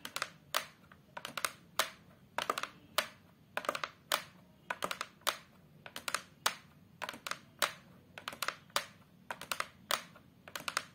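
Long multicoloured acrylic nails and fingertips tap across the flat brown fibreboard back of a large face-down photo frame. The taps come as quick, dry, bright clicks in irregular clusters, each dying away almost at once with little low-end body.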